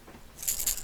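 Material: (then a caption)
Plastic. A 6th Sense lipless crankbait fishing lure is shaken to sound its internal rattle. After a quiet start, a bright, high-pitched metallic clicking and rattling comes in during the second half of the clip.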